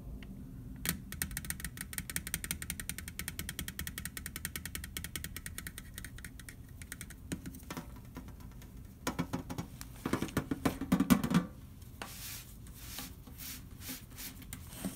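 A large, hollow, round metal butter cookie tin is held in both hands and turned while fingertips tap rapidly on its side wall and lid. The taps form a dense, steady patter with a hollow, low metallic tone. A louder, more resonant flurry comes near the ten-second mark before the tapping settles back down.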